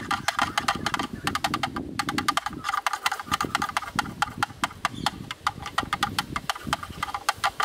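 Two thin yellow bamboo-like sticks tap and knock on the rim and inside walls of a hollow, open-ended black plastic rectangular camera lens hood held up by hand. Rapid, dry, hollow clicks ring out around 1.2 kHz with bright, short-lived ticks, and a soft low rustle sits underneath.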